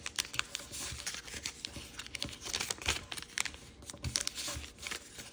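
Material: Paper.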